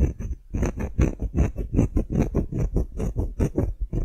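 Fingernails tap and scratch across the face of a solid engraved wooden block tag, making about twenty quick, dull knocks over four seconds in an uneven rhythm. The sound is soft and low-heavy, each tap dying away almost at once, with faint bright scratchy edges between them.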